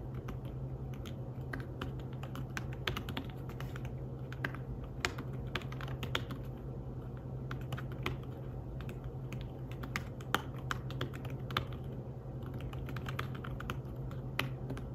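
Fingertips tap the keys of a slim fabric-covered tablet keyboard in steady, continuous typing. The keystrokes are soft, muted clicks with very short decay, occasionally sharper, over a constant low hum.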